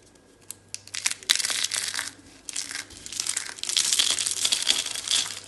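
Fingers with long dark red nails pinch and crumble solid, brittle orange dry soap rosette curls into flakes. Dry, bright crunching and crackling starts with a few sparse snaps, then builds into dense, continuous crushing with no ring after each crack.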